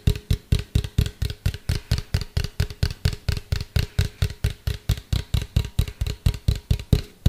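A medium hollow white plastic cylindrical container, held upright and then tilted, is tapped with fingertips and nails in a steady rhythm of about two taps per second. Each of the 34 taps is a short, deep, hollow thud around 98 Hz with a faint bright click from the nails, and it dies away almost at once.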